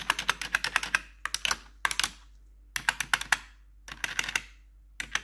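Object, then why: Plastic computer keyboard keys. Metal claw nail tips tap the black plastic keys of a blue-backlit plastic computer keyboard in quick bursts separated by short pauses. About 26 sharp, bright clicks are heard, each dying away almost instantly with little low end.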